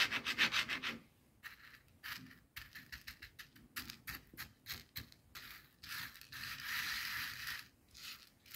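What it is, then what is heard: Coarse bath salt crystals scratched on a plastic board. Fingertips and long nails rub, press and scratch through a small pile of loose, coarse white bath salt crystals on a white plastic cutting board. It opens with a dense gritty burst, then a quick, uneven run of short, bright crunching scrapes. It ends in longer, sustained hissing rubs with almost no low end.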